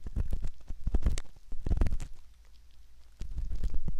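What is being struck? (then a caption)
Silicone ear model scraped with a metal ear pick. A hooked metal ear pick scratches the canal entrance of a soft silicone ear model, producing close, muffled, rumbling scrapes and crackles. The sound comes in dense bursts with a quieter lull near the middle before the scratching picks up again.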